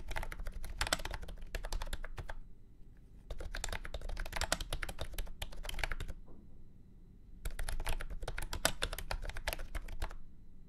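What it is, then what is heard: Plastic round-key keyboard being typed on. Fingertips type in three quick bursts on a full-size beige and orange plastic keyboard with round keycaps and a hollow body, resting on a felt mat. Dense, fast clacky key strikes with a hollow low thump decay almost instantly, separated by brief quiet pauses.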